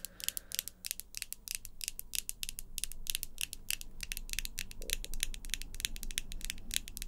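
Long glossy pink acrylic coffin nails on both hands are tapped, clicked and scratched against each other, nail on nail. Rapid, irregular bright clicks of small, solid, hard plastic follow one another with almost no ring, over a low background rumble.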